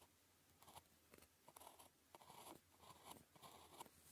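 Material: Paper.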